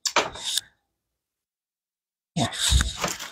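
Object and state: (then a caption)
Crispy french fries. Freshly fried french fries are moved onto a paper towel to drain, giving two bursts of dry, crackling rustle with a brief silence between them. The sharp, crunchy texture shows how crispy the fries are.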